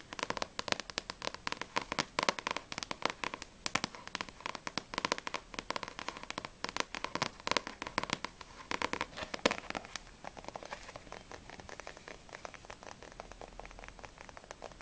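Long nails tap rapidly on the back cover of a Blue Exorcist volume 1 paperback manga book, then on its spine with the book held sideways. The dense, dry clicks are crisp and bright with almost no low end and no ring. After about ten seconds they turn quieter and steadier.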